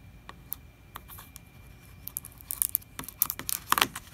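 Fingers tap the label and upper plastic wall of a large 4 L plastic distilled-water jug that looks full, while the jug is tilted slightly. The result is a series of short, dry, bright clicks and light taps, sparse at first, then quicker and louder, each dying away almost at once over a faint steady hiss.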